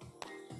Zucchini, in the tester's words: Questo deve fare così, se non è scrocchia non è buona